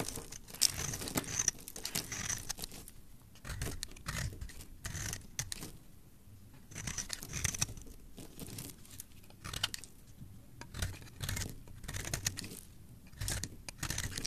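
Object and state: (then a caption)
Dry bar soap being scraped. A solid, dry, cream-white bar of soap held in the fingers is scraped with a metal blade, shaving off crumbly flakes. Repeated bursts of crisp, bright scraping and crunching come in strokes with short quiet gaps, over a soft low rustle.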